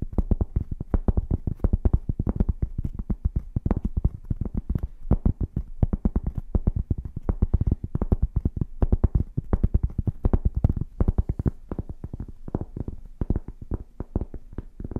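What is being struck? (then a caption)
Flat cork board tapped and scratched with fingernails. A flat, solid rectangular cork board is held in front of the microphones and scratched and tapped with the long painted fingernails of both hands. The result is a rapid, continuous patter of dull, low thumps with very short decay and almost no bright content, and occasional louder taps throughout.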